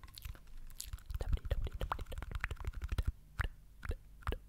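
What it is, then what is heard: Plastic chewing gum bottle. Fingernails tap and scratch the label and lid cap of a small green and white plastic chewing gum jar, apparently full. A quick, irregular run of dull, low, dry taps comes with soft scratchy rustles, and each tap dies away almost at once.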